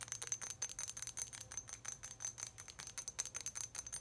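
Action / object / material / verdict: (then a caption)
tap / small glass milk bottle / glass / none. A small, clear, embossed glass milk bottle, hollow and empty, is held in the hands and tapped with long acrylic nails. A quick, uneven series of light taps gives short, bright, high ringing chimes that fade almost at once.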